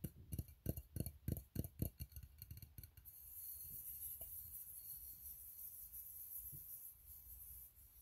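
Fingertips tap the ribbed sides and closed bottom lid of an empty, open, hollow steel tin can, giving a quick run of dull, low, hollow knocks with almost no ring over the first three seconds. The tapping then gives way to a steady, bright hiss, with a couple of faint knocks that fade out near the end.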